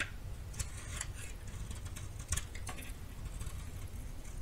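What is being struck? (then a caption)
Bar of soap scraped with a small knife. A small worn metal knife scrapes and carves curls from the face of a hand-sized solid white soap bar held in the palm. Soft, bright scraping strokes and light ticks sit over a quiet low rumble throughout.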